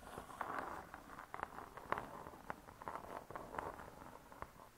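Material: Laminated board.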